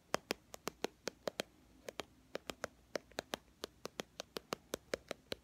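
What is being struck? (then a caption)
Small plastic squeeze tube. A small white and teal plastic BB cream squeeze tube, held in both hands, is tapped with long fingernails. About 26 quick, dry clicks come in an uneven rhythm over a quiet background. Each click is sharp and bright and dies away almost at once.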